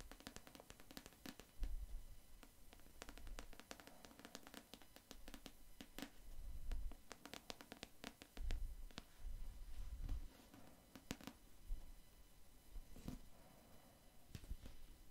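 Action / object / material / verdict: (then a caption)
tap / hardcover paper book / cardboard, paper / none. Long acrylic nails fitted with metal paperclips tap and scratch the black printed cover of a medium, solid hardcover paper book held in one hand. Rapid, irregular, sharp clicky taps with very short decay mix with scratchy strokes, over soft low thumps from handling. The overall level stays quiet and close.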